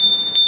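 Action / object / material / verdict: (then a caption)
strike / metal hand bell / brass / sound. A metal temple hand bell, open inside and in good order, is rung. It gives a clear, steady high ring, and a fresh stroke near the end brightens it again. Its sound comes out right, unlike a faulty bell, which is how a bell is checked before buying.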